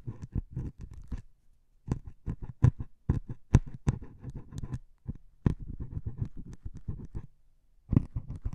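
A needle taps and scratches into the surface of a solid melamine foam sponge with a grey top, held in one hand. Quick, soft, dull taps and scratchy scrapes come in rapid clusters, with brief pauses between bursts. Each sound is dry and dies away almost at once.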